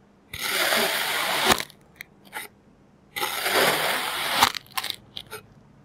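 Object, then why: Kinetic sand pressed and scraped with a plastic knife. A clear plastic knife presses into a pile of orange kinetic sand and scrapes it flat. Two long, bright, grainy hisses each end in a sharp tap, followed by a few short, soft crackles and ticks.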